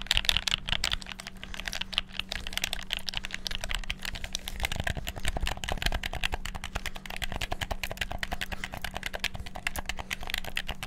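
Fingertips rapidly click the buttons and triggers of a black PS4-style plastic gamepad. The result is a dense, continuous stream of short, sharp, bright plastic clicks that stop instantly with no ring, over a faint steady low hum.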